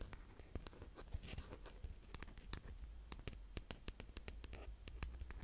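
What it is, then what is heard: Kinetic sand being raked. A hand with painted nails scratches and digs through brown kinetic sand with a green plastic rake, then with its flat scoop end. Close, dry crackly scrapes and quick gritty clicks come over a low, soft rumble, with bright grainy hiss on the sharper strokes.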